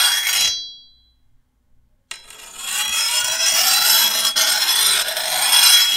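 A hand-held steel file scrapes along the edge of a long, thin, solid steel machete blade, giving a bright, hissing rasp. The first stroke stops and leaves a high metallic ring fading into near silence. A sharp scrape then starts a second, steady filing stroke that holds to the end.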